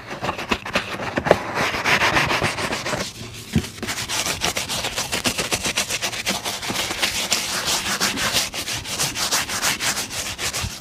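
A brown leather boot is brushed briskly with a bristle shoe brush, making a rapid run of dry, bright, scratchy strokes. The rough swishes come quickly at a slightly uneven pace, with a few sharper taps near the start and middle.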